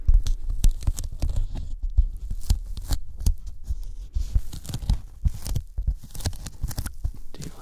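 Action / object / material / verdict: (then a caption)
tap / thin polyethylene foam sheet / polyethylene foam / none. Sticky fingertips tap and pull at the surface of a thin white closed-cell polyethylene foam sheet held over the microphones. Close, soft low thumps come in a rapid, uneven run, each with a faint bright, tacky crackle as the fingers peel away.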